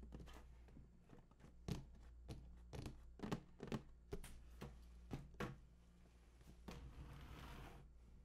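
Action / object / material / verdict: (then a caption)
tap / large cardboard box / cardboard / none. Fingertips tap and scratch along the bottom edge of a large, hollow cardboard PS4 console box standing on its side. A series of quick, dry taps with a hollow low thump stands out over a steady low hum. A soft, brushy scratching sound closes the clip.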